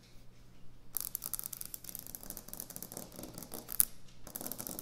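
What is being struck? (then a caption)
Quartz kitchen countertop. Fingernails tap and scratch quickly across a solid white speckled quartz or stone kitchen countertop. After a quiet first second with a faint low hum, a dense stream of crisp, bright scratches and taps runs to the end, briefly easing just after four seconds. One sharp, louder click stands out near the four-second mark.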